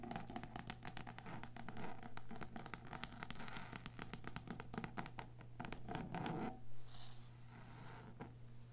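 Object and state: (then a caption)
Old cloth-bound hardcover book. Fingertips and long nails tap and scratch the textured cloth cover of a small, old cloth-bound hardcover book lying flat on a table. Quick, irregular, crisp taps mix with scratchy strokes over a steady low hum. A brief louder scrape comes near the end, and then the tapping thins out.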